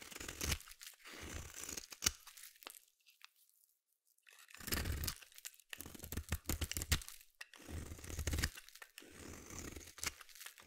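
A small metal blade scrapes and shaves the edge of a palm-sized solid red bar of soap held in the hand. Dry, crunchy, crinkly shaving strokes come in bursts with bright, high grit, and one sharp click early on. A near-silent pause follows before the scraping resumes.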